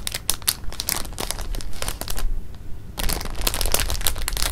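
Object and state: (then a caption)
Plastic bag of jelly beans being crinkled. A clear plastic bag of jelly beans is held and rubbed against fabric while fingers crinkle the film, giving dense, bright crackling bursts over a steady low rumble. The crinkling drops to a quieter, duller rustle for under a second in the middle, then returns just as busy to the end.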